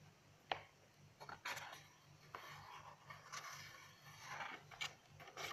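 Pages of an open lined paper notebook are flipped and rustled by hand while long nails rest on and scratch across the paper. Short, dry, bright bursts of papery rustling and scratching come at irregular intervals over a faint steady low hum.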